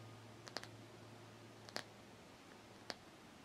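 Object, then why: Rubber hockey puck. Long nails click and tap on the rim and face of a solid black rubber hockey puck held in the hands, turning it briefly. Sharp, dry, bright clicks arrive in three small irregular bursts with no ring, over a faint steady low hum.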